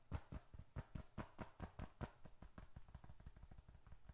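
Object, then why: Leather bifold wallet. Fingertips tap and pat the flat surface of a small, closed, reddish-brown leather bifold wallet held in one hand, producing a quick, uneven series of soft, dull, low thumps that die away almost instantly. Stronger pats come first, then the taps grow lighter and closer together. Bills and receipts inside may add a faint crinkle.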